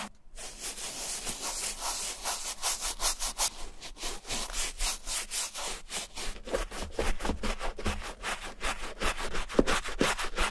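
A wooden-handled bristle brush loaded with foamy shampoo scrubs back and forth over the lining and outer shaft of a brown vintage Levi's suede leather boot, a hollow shoe with a fabric and leather lining lying on a towel, as it is cleaned and restored. It makes rapid, steady, bright, hissy swishing strokes with a wet, foamy rasp and a faint low thump under each pass.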